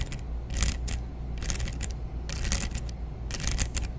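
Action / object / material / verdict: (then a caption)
scrape / plastic hair claw clip / plastic / none. Long nails scratch and strum across the plastic teeth of a large dark brown plastic hair claw clip with a metal hinge. Bursts of bright, rapid clicking and scraping come in clusters over a steady low hum.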